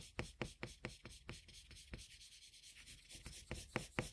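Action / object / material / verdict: scrape / colored pencil on a paper drawing sheet / paper / none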